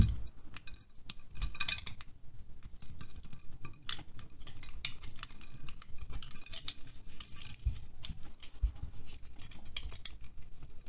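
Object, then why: Wax pillar candle scraped by a knife blade. A solid green wax pillar candle, about hand-sized, is held in one hand over a glass plate while a utility knife blade scrapes and carves wax shavings from it. The result is a steady run of short, dry scraping strokes with crisp bright ticks over a soft low rumble, continuing throughout.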